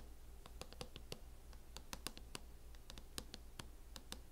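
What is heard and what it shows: Long acrylic nails tap and scratch on a closed MacBook in a mint matte plastic hard-shell case, producing quiet, irregular, sharp clicks with bright, short-lived ticks. Soft scratching fills the gaps over a steady low hum.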